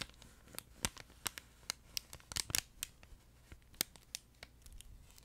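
A long, flat yellow plush duck pet toy made of soft fleece with a crinkle-paper insert is squeezed and scratched with fingertips and medium manicured nails close to the mic. About fifteen sharp, bright crinkles and scratches pop out over a soft papery patter. Each one is dry and dies away instantly.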